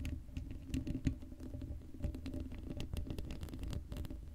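Long acrylic nails scratch and tap across the hollow, uncovered black steel mesh grille of a Blue Yeti microphone. The result is a dense, steady patter of quick scratches and clicks, heavy and boomy in the low end, with short bright ticks on top.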